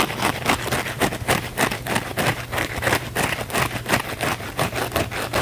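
A small blue cellulose kitchen sponge, held in both hands, has its scouring-pad face scratched rapidly and aggressively with fingernails. The result is a fast, uneven series of rough, bright scratching bursts, about three per second, with a steady low hum underneath.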